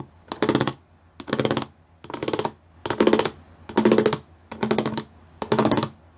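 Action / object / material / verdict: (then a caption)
tap / plastic panel with pyramid studs / plastic / none. Fingertips and nails tap quickly across a grey plastic sheet covered in pyramid studs. The sound comes as seven short bursts of dense, bright, clicky rattling, separated by near-silent pauses. Each burst has a light hollow body under the crisp high clatter.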